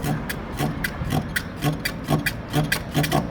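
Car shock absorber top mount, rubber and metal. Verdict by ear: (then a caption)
Worn. A car wheel is shaken up and down by hand, producing a repeated knocking from the worn rubber-and-metal shock absorber top mount on the opposite side. Nine short, dull knocks with a low thump and a brief bright click follow an uneven rhythm, and the play is the same worn mount condition as the first side.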